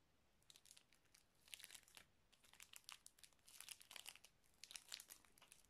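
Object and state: Plastic zip-lock bag.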